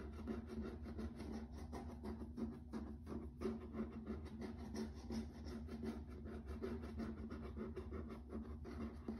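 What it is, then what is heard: Laminate floor, tapped and scratched. Fingertips and short nails tap and scratch across grey-washed, wood-grain laminate floor planks that are hard and flat. A steady, fairly quick rhythm of soft taps and dry scratching runs throughout over a low, constant hum, with a faint tonal ring in the low-mid range.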